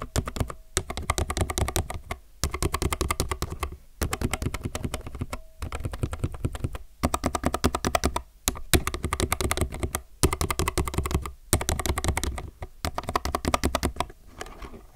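A low-profile mechanical keyboard with plastic keycaps is typed on densely with both fingertips, giving rapid, short, clacky keystrokes with a deep thocky body and little high ring. The typing comes in bursts separated by brief pauses.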